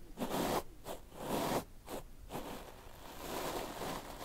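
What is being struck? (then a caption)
Plastic-bristle brush in beard hair. A black paddle hairbrush with plastic bristles, held in the hand, is pulled through a full, thick beard on the jaw, making repeated brushing and scratching strokes. Each stroke gives a dry, raspy rustle centered in the mids with a bright, hissy top, separated by short pauses early on. Toward the end the strokes blur into a steadier scratching.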